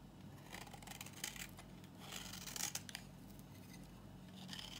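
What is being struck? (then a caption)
Bar of soap shaved with a knife. A knife blade held in the hand shaves a solid, dry, old green bar of soap, letting brittle flakes fall off. Crisp, bright scraping strokes sound over a low steady hum, with the strongest shavings near the middle of the clip.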